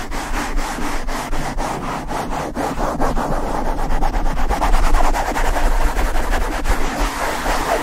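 A black foam windscreen on a Blue Yeti microphone is rubbed fast by the palms and fingertips of both hands, with the nails occasionally touching it. The result is steady, close microphone handling noise: dense scratchy rubbing strokes over a heavy low rumble, with a faint brighter hiss on top.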